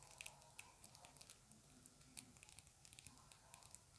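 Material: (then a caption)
Plastic. A small round dark plastic compact with a printed lid is held in both hands and tapped and scratched with long acrylic nails. Quick, irregular bright clicks and taps ring very briefly over a soft, scratchy rustle. The whole clip stays quiet and close.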